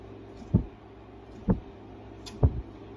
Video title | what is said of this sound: Thicknessing the guitar top for maximum tone | give it a little shake here it's very faint